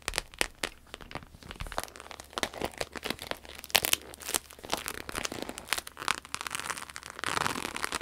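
A red croc-embossed vinyl wallet on a table is lifted, then tapped and scratched with long acrylic nails. The result is a steady stream of quick, bright crinkly clicks and scratchy rustles with almost no low end. A broader, louder scraping swell comes near the end.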